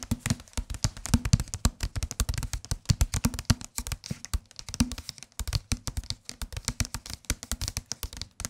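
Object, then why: Paperback book. A solid white and green softcover paperback book is held in the hands and tapped quickly on its front cover with the fingertips. The result is a rapid, uneven stream of dozens of soft, dull, low thuds that die away instantly, with a faint bright papery click on each tap.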